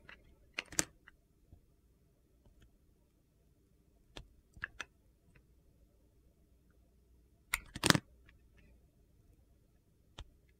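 A utility knife blade slices the edges of a solid pale blue Coast soap bar with a black glitter coating, carving it. Sharp, dry clicks and short crisp scrapes come in scattered bursts separated by near-silence over a faint low background hum.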